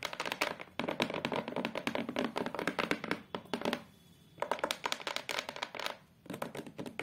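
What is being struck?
Hardboard photo frame backing.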